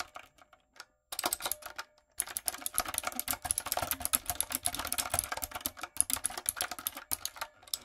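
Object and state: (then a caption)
Mechanical keyboard with plastic keycaps. Long nails and fingertips rapidly tap the round brown plastic keycaps of a backlit, typewriter-style mechanical keyboard with a dark frame. The result is a fast, bright clatter of short, crisp clicks. A few scattered taps open the clip, two brief pauses follow, and then the typing runs steadily to the end.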